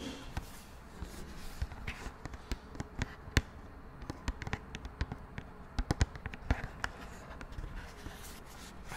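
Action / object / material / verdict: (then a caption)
tap / cardboard makeup palette / cardboard / none. A small, flat pink-beige cardboard makeup palette with an oval pan inside is held close in both hands and tapped and scratched with long nails. Quick, dry clicks and taps land in an irregular rhythm, each dying away almost at once, over a low, soft scratching bed with only a little high-end brightness.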